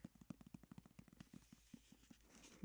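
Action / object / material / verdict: tap / hardcover book / cardboard and paper / none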